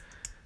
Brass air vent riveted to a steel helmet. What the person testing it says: this one is loose as you can see but you could hear that tapping there